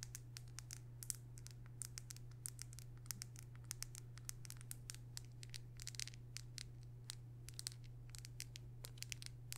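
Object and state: Plastic makeup tube.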